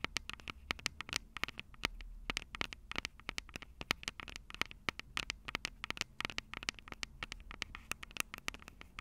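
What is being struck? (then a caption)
Plastic handheld recorder with metal microphone grilles. Long purple acrylic nails rapidly tap and scratch the two metal-grilled microphone capsules of a Tascam DR-05 handheld recorder with a plastic body. Dense, dry, bright clicks with a strong presence around 2 kHz cut off almost instantly, over a soft low rumble and light scratching between taps.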